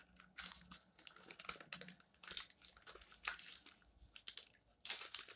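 Fingertips rub across the pages of an open paper magazine, showing a text page and a dark photo page, resting on a stack, and lift a page corner. The thin paper gives off quiet, bright, irregular bursts of crinkling and rustling that stop short with almost no ring.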